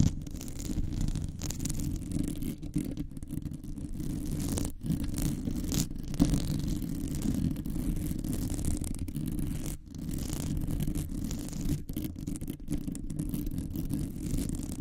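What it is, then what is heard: Metal microphone mesh grille being scratched. Long nails on both hands scratch and rub the rounded, hollow metal wire-mesh grille of a large condenser microphone. The result is a continuous, dense, low rumbling scrape with a faint hum around 280 Hz and almost no high end. It breaks off briefly near 5 and 10 seconds.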